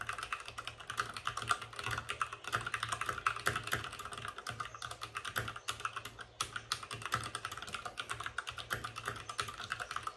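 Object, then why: Plastic mechanical keyboard. Fingertips of both hands type fast on a white RGB-backlit mechanical keyboard with plastic keycaps and a hollow plastic case. The result is a steady, dense stream of short, clacky keystrokes with a hollow mid-range tone around 1.4 kHz and quick, dry decays. Louder taps and brief pauses occasionally break the rhythm.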